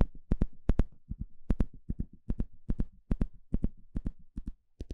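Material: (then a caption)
Plastic. A small blue plastic fine-tooth comb, held in the hand, has its teeth scratched and flicked with a thin plastic stick. The result is 24 sharp, dry clicks, mostly in quick pairs, each with a bright snap and a short low thump that dies away almost instantly.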